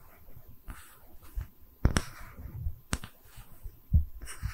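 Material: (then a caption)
Wood. Long red nails tap and scratch a small, round, solid wooden tree-slice stand held in both hands. Soft, low scratching runs throughout, broken by four distinct taps with sharp, bright clicks and a dull low thump. Each tap dies away almost at once.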